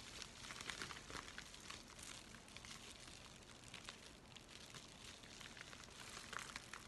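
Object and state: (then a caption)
Paper mailing envelope being crinkled. An empty white USPS paper mailing envelope with a red stripe is held and crinkled between the fingers. It makes a quiet, steady stream of dry, bright crackles and rustles, with small sharper crinkles now and then.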